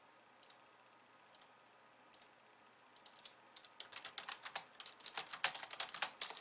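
A pink, slim plastic computer keyboard with white keys sits on a wooden desk and is typed on by both hands, using long glossy nails and fingertips. A few sparse, bright clicks open the clip, then the tapping quickens into fast, dense, crisp clacking of the plastic keys.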